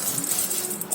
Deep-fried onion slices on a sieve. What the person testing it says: keep them on a sieve like this and then you will hear how crispy they become